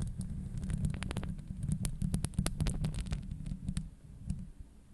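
Long acrylic nails scratch and tap the hollow steel wire-mesh grille of a Blue Yeti microphone head. The result is a dense, boomy low rumble and thumping, with quick, bright clicks and ticks scattered through it. The sound fades down toward the end.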